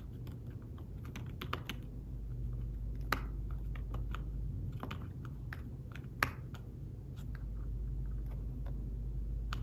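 Fingertips type on a thin folio tablet keyboard with fabric-covered keys, making soft, dry, irregular tapping clicks at a steady pace. A couple of taps land louder, over a constant low hum throughout.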